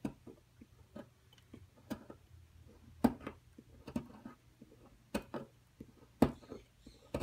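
A metal carving tool scrapes and picks into a solid white rectangular plaster block with embossed lettering from a dinosaur nest excavation kit, held flat on a table as powder falls away. About a dozen short, dry, crumbly scratches and clicks sound at an uneven pace, a few sharper picks standing out, over a faint low hum.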